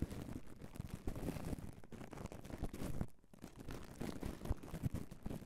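Bare fingertips with short nails rub, tap and squeeze a fist-sized, soft red foam microphone windscreen tightly wrapped in clear plastic cling wrap. The result is close, continuous crinkly plastic rustling, heavy in low rumbling thuds with little brightness, and a brief quieter pause just past the three-second mark.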